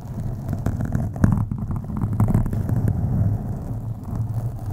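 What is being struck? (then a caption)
Foam microphone windscreen. Long acrylic nails on both hands scratch a black foam windscreen on a USB microphone. The result is a deep, muffled rumbling scrape, almost entirely low in pitch with a steady low hum, broken by many quick soft ticks as the nails drag across the foam.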